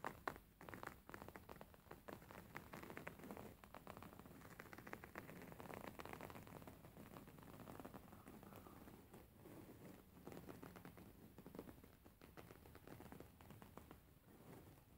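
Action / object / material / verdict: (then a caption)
scrape / embroidered linen fabric pillow / linen / none. Fingernails tap and scratch quickly on a beige embroidered linen pillow with stitched fabric. A dense run of soft, dry taps and scratchy rustles patters steadily like light rain, quiet and mid-toned, with each tap dying away almost at once.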